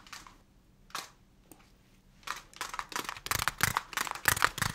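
A small translucent plastic pot holding a young plant in soil is held in both hands and tapped and rubbed with the fingertips. A few soft, scattered taps and brushing sounds open the clip, then give way to a denser run of crisp, crinkly plastic taps and rubs with a bright, hissy edge.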